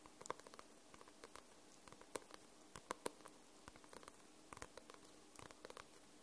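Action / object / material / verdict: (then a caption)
tap / paperback book with glossy paper cover / paper / none. Long nails tap and scratch the glossy paper cover of a paperback book. The result is a quiet, irregular run of many short, dry clicks with bright edges, mixed with soft scratching between them. No tap rings on after it lands.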